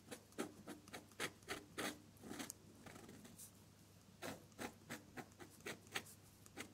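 A metal dip-pen nib with colored ink scratches across a sheet of drawing paper while drawing the petals and stem of red flowers. It makes a series of short, dry, bright scratchy strokes in an uneven rhythm, with a brief quieter stretch in the middle and no lingering ring after each stroke.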